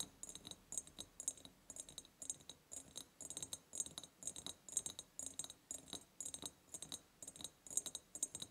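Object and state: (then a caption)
Ribbed glass jar. Long painted nails tap and scratch the sides of an empty ribbed clear glass jar. Quick, bright clicks land in uneven bursts, overlaid with a thin, scraping rasp as the nails drag across the ribs, and each tap dies away almost instantly with no ringing tail.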